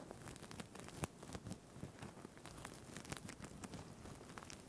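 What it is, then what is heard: Plastic sequin fabric being scratched. Fingertips and nails rub and scratch the plastic sequins of a purple-green sequined fabric tie with an elastic band. A quiet, steady crinkly scratching fills the clip, dotted with many short, bright clicks and ticks that stop almost instantly.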